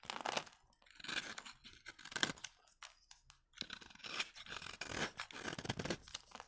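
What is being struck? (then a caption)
Bar soap shaved with a blade. A utility knife blade held under the thumb scrapes across a solid, dry bar of vintage soap, shaving powdery flakes off its surface. Dry, crunchy, bright scraping bursts come in uneven strokes with brief pauses between them.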